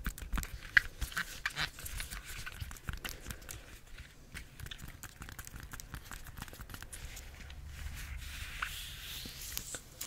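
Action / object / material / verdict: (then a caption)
scrape / banana bunch with peel / banana peel / none. Long nails scratch and grip the peel of a bunch of ripe bananas. Quick, irregular scratchy clicks and soft crinkly rubbing run throughout, over a low dull rumble. A few sharper taps stand out near the start.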